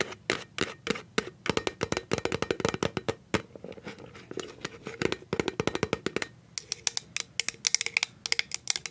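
Paper clip nails tap and scratch on the label of a clear plastic cashew jar with a plastic lid. Dozens of quick, bright clicks come in rapid bursts, mixed with dry scratching. The clicks are sharp, high and stop instantly, with a brief lull partway through.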